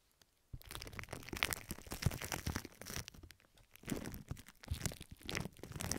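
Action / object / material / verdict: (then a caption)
scrape / plastic film / plastic / none. Long red nails on both hands scratch and squeeze pink plastic film wrapped over both ears of a microphone. After a brief near-silent start, a dense, continuous crackling and crinkling rustle follows, with low thumps and bright, sharp crunches swelling and dipping throughout.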